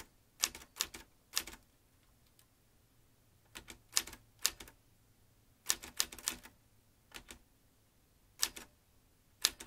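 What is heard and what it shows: Fingertips press the keys of a metal manual typewriter fitted with a ribbon spool and paper, typing. Sharp, bright key strikes come in short bursts with quiet gaps between them, each snapping off almost instantly with little low-end weight.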